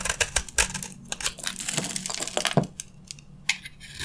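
A solid, dry red soap bar is held in the hand while a metal utility blade scrapes crunchy red shavings from its face. Rapid, dry, bright crackling scrapes come in quick bursts with a low hum underneath, thinning into sparser crunches toward the end.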